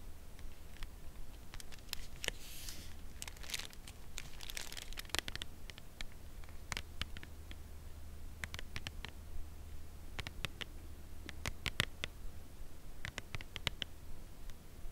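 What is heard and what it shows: Long nails tap slowly and gently on the front of a full cardboard chocolate bar box held upright in the hands. Sharp, dry clicks come at irregular intervals, with a brief crinkly rustle near the start, over a steady low hum.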